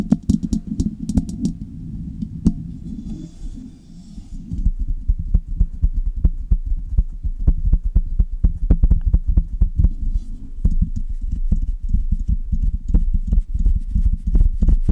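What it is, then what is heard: Metal condenser microphone, tapped and scratched. Long red nails tap and scratch the metal mesh grille and metal body of a Blue Yeti metal USB condenser microphone in rhythmic patterns. The result is a dense run of quick, muffled thumps and scratchy rubs, heavy in the low end, over a steady low hum. A few sharper clicks add brief bright ticks.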